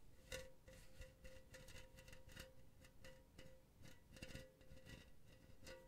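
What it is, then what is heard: Metal mesh pen holder. Long blue nails scratch across an empty silver metal mesh pen holder held close to the microphone. The result is a series of quiet, raspy scraping bursts with bright crackly edges over a faint, steady metallic ring around 520 Hz.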